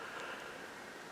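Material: Nothing is struck.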